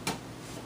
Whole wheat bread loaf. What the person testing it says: give it a tap and it should sound nice and hollow